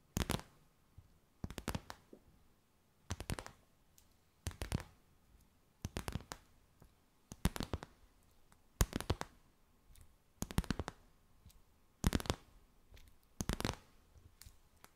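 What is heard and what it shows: A clear, stiff, empty plastic bag held in both hands is tapped and crinkled with long white nails. The result is roughly ten short bursts of dry, bright crackling clicks, spaced about a second and a half apart. Quiet pauses with a faint low background hum fall between the bursts.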